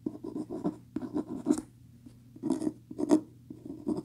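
Fingernails scratch the beige linen-textured cloth cover of a medium, solid hardcover book lying on a table. Quick, dry scratching strokes come in uneven clusters with brief quiet pauses between them, mostly low-mid in tone with occasional brighter edges.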